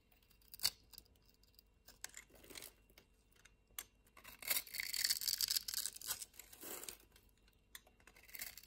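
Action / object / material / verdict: scrape / bar of soap / soap / none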